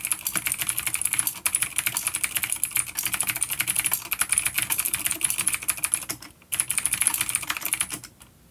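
Fingertips of both hands type rapidly on a full-size dark plastic vintage mechanical keyboard with clicky blue switches and grey keycaps, resting on a wooden desk. Dense, bright, sharp clicks run almost continuously, with a short pause near 6.3 seconds. The typing resumes and then trails off into quiet near the end.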